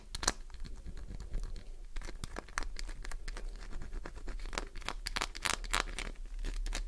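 Long nails rapidly scratch and scrape the surface of a solid green glycerin soap bar, raising shavings. Dense, crisp scratching and crinkly tearing sounds with bright clicks overlap continuously over a low steady rumble.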